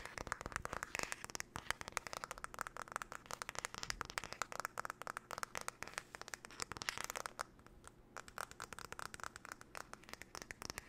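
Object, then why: Wooden hairbrush. Long nails tap and scratch rapidly over the back and handle of a flat, paddle-shaped solid-wood hairbrush held by hand near the mic. The result is a fast, chaotic stream of short, dry clicks with almost no ring, mixed with brighter scratchy rasps. The sound centers around 1.7 kHz with little low end.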